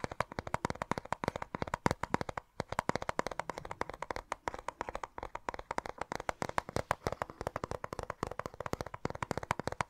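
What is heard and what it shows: A small, hollow, clear plastic cassette case with a colourful printed insert and a tape inside is held in both hands and tapped and scratched with fingertips and short nails close to the microphone. A steady stream of quick, dry, crisp taps and clicks runs throughout, with a hollow midrange tone. Faint scratchy rustling sits between the taps, and each tap dies away almost instantly.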